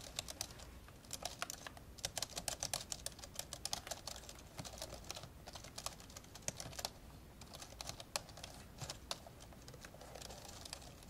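Both hands type with their fingertips on the plastic keys of an old, open, dark grey plastic laptop. The result is a fast, irregular stream of short, bright clicks that die away almost instantly, with a faint low hum beneath. The clicks thin out briefly around the first and seventh seconds.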